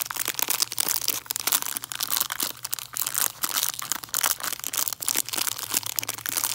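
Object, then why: Hard peppermint candy wrapped in cellophane. A hard peppermint candy tree wrapped in cellophane is crinkled and scratched with fingernails. Dense, bright crackling and crinkling comes in quick, uneven bursts with sharp scratchy snaps and almost no low end, continuing throughout.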